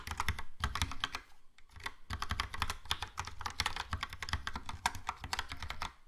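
Fingertips of both hands type fast on a Logitech POP Keys plastic mechanical keyboard with a yellow plastic case and round plastic keycaps. A dense stream of crisp, clacky keystrokes carries a low thump beneath bright, short clicks that die away almost at once. The typing pauses briefly around the middle before resuming.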